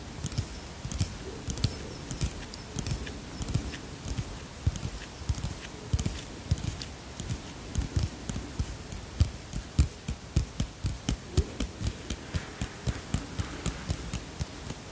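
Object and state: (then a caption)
Plastic bottle tapped with fingernails. A small white plastic bottle is tapped with long fingernails in a steady, quick series of light taps. Each tap gives a soft, low, hollow thud with a faint bright click on top, dying away almost at once against a quiet background.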